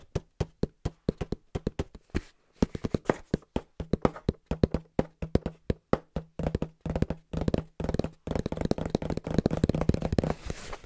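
Fingertips tap quickly and rhythmically on the face and top edge of a small, hollow brown cardboard box held in both hands. The taps are short, dull and hollow, with a low resonant tone around 190 Hz. They start as separate knocks and grow into a dense, continuous flurry toward the end.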